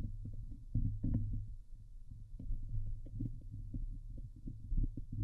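Long painted nails scratch across the hollow steel wire-mesh grille of a Blue Yeti microphone head. Dense, rapid rasping strokes sit almost entirely in the low end over a steady low hum, with short bursts that die away quickly and only a faint bright hiss above.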